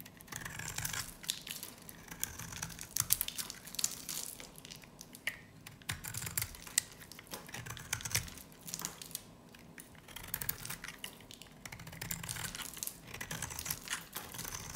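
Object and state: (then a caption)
Dry varnished soap bar shaved with a blade. A dry, solid yellow bar of soap with a black varnish coating is held in one hand and scraped and shaved with a utility knife blade, peeling off curls of soap. The sound is a steady run of crisp, bright scraping and crackling, with sharp brittle snaps breaking through at points.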